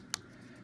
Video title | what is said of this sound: Bioplastic Lab | if I tap them on the table, you can hear that they're actually pretty stiff